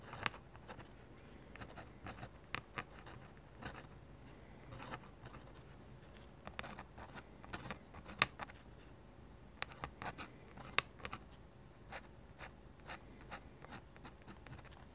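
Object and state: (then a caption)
Paper sheet under a metal pen nib. A dip pen with a metal nib, held in the fingertips, draws on a large flat sheet of white drawing paper lying on a table. It makes short, bright, scratchy strokes over a quiet background. The strokes come in irregular bursts, each one dry and clipped with almost no ring.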